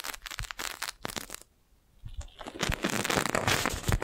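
A clear, crinkled, thin, hollow plastic magic balloon bubble about the size of a fist is held beside a microphone and tapped with long nails, giving bursts of bright, crackly taps. After a brief quiet pause it is pressed with the hand on top of the microphone, producing a louder, denser stream of crinkling and crackling with low thumps.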